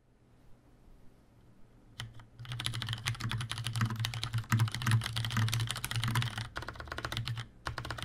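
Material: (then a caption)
Plastic. A tenkeyless Leopold FC750R mechanical keyboard with Cherry brown switches, a plastic case and keycaps, and a hollow housing is typed on with the fingertips of both hands. After about two seconds of near silence and a few isolated taps, rapid, uneven key presses produce a dense stream of bright clacks over a hollow low thump. The typing stops briefly twice near the end before resuming.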